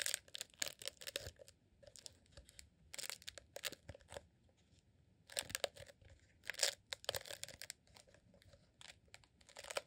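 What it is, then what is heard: Rolled beeswax candle being scratched. A green honeycomb beeswax tube, a rolled beeswax sheet candle held in both hands, is squeezed and scratched with fingertips. Bursts of crisp, bright crackling and scraping come in clusters with short quiet gaps, each sound dying away almost at once.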